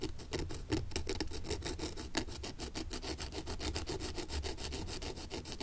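A thin wooden stick scrapes dirt along the welt and heel of an antique leather brogan lying on its side with its sole facing up. It makes a quick, steady series of dry rasping strokes, each a short bright scratch over a low, dull rumble, with no ring between strokes.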